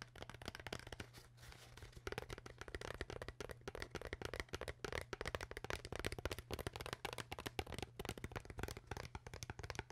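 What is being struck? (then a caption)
Plastic water bottle. Long nails rapidly tap and scratch the sides of an empty, hollow, clear PET plastic water bottle with a white cap. The result is a dense stream of quick, dry, crinkly clicks and scrapes with a bright edge, over a steady low hum.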